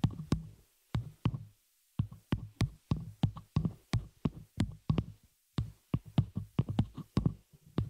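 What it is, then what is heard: Metal microphone shock mount tapped with nails. Long nails of both hands tap and scratch the hollow open frame of a small metal spider-cage shock mount holding a microphone. A rapid, uneven series of short, dull thumps with bright clicky edges follows, broken by brief silences. The sound is deep and boomy through the mic, with each hit dying away almost at once.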